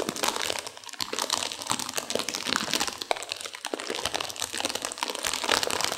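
A sealed plastic instant-noodle packet with dry noodles inside is squeezed and crinkled by hands and long nails to crunch the noodles. Dense, bright crinkling of the plastic wrapper mixes with sharp crackles and crunches for the full clip, with almost no low end.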